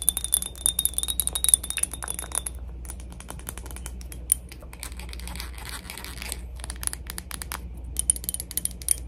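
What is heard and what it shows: A glass cologne bottle from PacSun is tapped quickly and lightly for ASMR, producing a fast run of bright, short glassy clicks and clinks. A faint high ringing tone is heard early on over a steady low hum, and the taps die out almost instantly.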